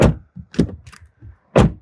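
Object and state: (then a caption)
Solid-sounding car door slam. A BMW X5 xDrive50e's car door is shut, producing three dull, low, solid thuds with a brief decay, the first and last the strongest. The closing sound is judged good and solid.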